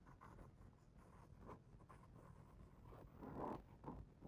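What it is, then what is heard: Hardcover picture book page being rubbed. A fingertip traces and rubs across the glossy paper page of a hardcover picture book held open on the same spread. The result is a soft, dry scratching with faint swells, quiet and muffled, with energy mostly in the low and lower-mid range and no bright edge.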